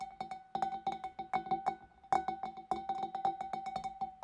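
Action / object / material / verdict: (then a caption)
tap / empty glass fish bowl / glass / none. Long dark nails tap inside the opening and on the rim of a large, clear, empty glass fish bowl. A quick, uneven series of light, sharp taps rings out, each leaving a short, clear glassy tone near 760 Hz with faint bright overtones, some taps louder than others.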